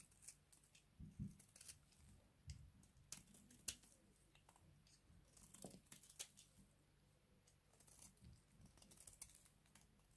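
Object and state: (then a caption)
Dry bar soap, scraped. A small box-cutter blade is repeatedly scraped along the edge of a cream-colored, hand-sized, partly carved solid bar of dry soap held in one hand. Short, dry, crunchy scrapes and crackles come in quick bursts with a bright, hissy top and soft low thuds. The sound is quiet and close, and each scrape stops almost at once with no ring.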